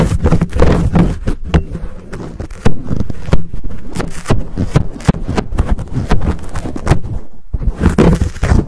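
Fingertips scratch a fuzzy black foam windscreen on a Blue Yeti microphone while palms cup it. The result is dense, close, muffled rustling and crackling, heavy in low rumble, with sharp brushy bursts and soft thumps. It continues steadily with a brief quiet gap near the end before resuming.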